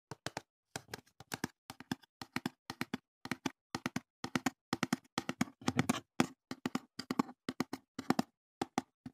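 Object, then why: Small corrugated cardboard box. A small, empty, open-top brown corrugated cardboard box is held in the hands beside the microphone and tapped and handled with the fingertips. Quick clusters of soft, dry taps have a hollow, papery midrange body and die away almost instantly, with brief rustles between them.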